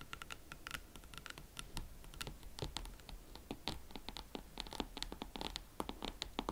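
Long nails scratch and tap the heels of a pair of hot pink leather Valentino Club platform boots held from behind. The result is a quiet, steady run of dry scratching and short, crisp clicking taps with bright, high edges and almost no ring.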